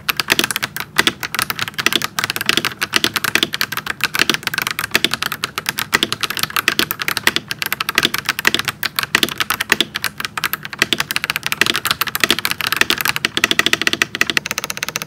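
Both hands type rapidly with their fingertips on a pink and white plastic mechanical keyboard with plastic keycaps and an RGB backlight. It makes a steady stream of sharp, bright, clicky clacks with almost no low end. Each keystroke dies away almost instantly.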